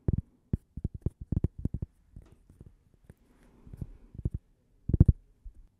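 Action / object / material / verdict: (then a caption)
tap / thin cork coaster / cork / none. A small, thin, solid cork coaster shaped like a slice of toast is held close to the microphone and tapped with long painted nails and fingertips. The result is a series of soft, dull, low thuds that die away almost instantly, coming in quick clusters with a quieter rustling patch in between.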